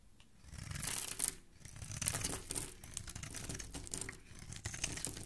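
A hand-sized, solid pink bar of soap is held in the hand and scraped with a black blade, shaving off curled strips. The sound is a steady run of crisp, crinkly scraping strokes, bright and hissy on top with a soft low rumble underneath, swelling and easing slightly as the blade drags through the bar.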